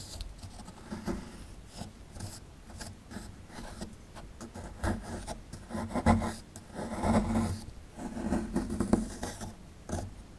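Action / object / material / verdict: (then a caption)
scrape / plaster excavation block scraped with a metal pick / plaster / none. A metal pick tool scrapes a small, solid plaster excavation block held in the hand. Dry, rasping scratches repeat at an irregular pace and build into longer, louder gritty strokes toward the middle and end, with a low body and little high ring.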